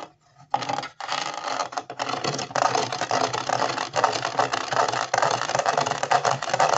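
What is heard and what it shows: Fingertips and nails scratch along the grooves of the white ridged sole of a hollow plastic Ravensburger 3D jigsaw-puzzle shoe in Converse style, held against a wall. After a brief quiet start, a dense, rapid, irregular plastic rasping runs almost without a break, bright and strongest in the midrange, with little low end.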